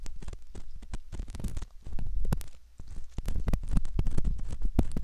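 A curved metal pick scrapes the canal opening of a soft silicone ear model, making a dense, close, crackling scratch with a heavy low rumble. The scraping runs almost continuously, easing off briefly twice before building again.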